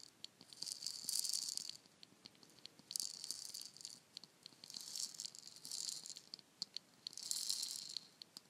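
A palm-sized hollow painted wooden ball shaker, red and orange with a dragon design and filled with rattling beads, is turned and tapped with long nails. Five swells of bright, hissing bead rattle rise and fade, with short, sharp ticks of the nails on the wood scattered between them.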